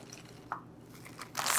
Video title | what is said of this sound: Mascot Nuts for the Holidays | you can just hear the crisp sound of the pecans